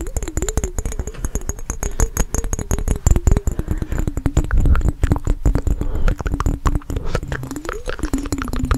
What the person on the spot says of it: fast tapping on mason jar with water